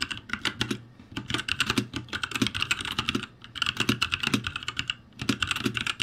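Fingertips type on a backlit ROCCAT G65 mechanical keyboard with plastic keycaps, producing rapid bursts of sharp, bright clicks and clacks with a low thock beneath each keystroke. The typing comes in quick runs separated by brief pauses, each tap decaying almost instantly.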